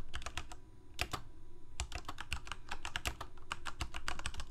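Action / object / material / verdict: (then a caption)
tap / plastic mechanical keyboard / plastic / none. Both hands type rapidly with their fingertips on a full-size black plastic Corsair K68 mechanical keyboard with Cherry MX Red switches and blue backlit keycaps, resting on a white desk. Quick, dry key clacks with a deep low thump and bright, short clicks follow one another in bursts, with brief pauses near the start before the typing turns steady and dense.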